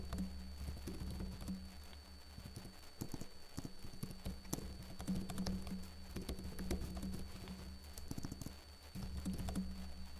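Fingertips with short blue-painted nails type fast on a backlit laptop keyboard with plastic keys. Quick, dense clicky taps run over a steady low hum, with a faint high whine in the background.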